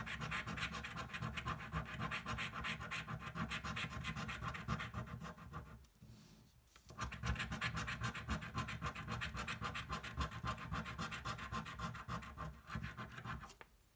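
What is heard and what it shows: A coin scratches the coating off a thin paper scratch-off lottery ticket lying flat on a table, producing a steady run of quick, rasping strokes with a low rumble and bright grit. The scratching pauses briefly around the six-second mark, then picks back up at the same fast pace until it fades out at the end.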